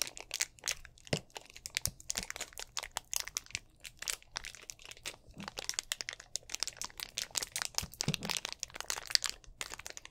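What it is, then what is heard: Empty plastic drink bottle. Fingertips squeeze and crinkle a hollow, mostly empty clear plastic drink bottle with an orange cap, held close to the microphone. Dense, bright crackles and crunches pop in quick, irregular bursts with almost no low end, each snap dying away instantly.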